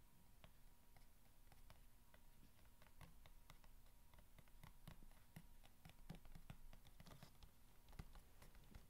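Long red-painted nails scratch and tap the sides of a long, narrow, empty, hollow corrugated cardboard box lying on a blanket. The result is a quiet, steady stream of soft, irregular taps and scratchy rustles, with dull low thuds under short bright clicks and a faint constant hum behind them.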